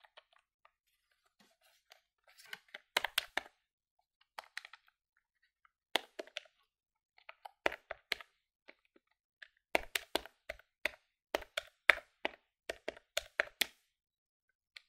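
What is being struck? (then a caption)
Plastic desktop calculator keys. A plastic desktop electronic calculator is held in one hand while its plastic keys are pressed quickly with fingertips and nails. The result is a fast series of sharp, dry, bright clicks in irregular bursts, each dying away almost at once, with short quiet gaps in between.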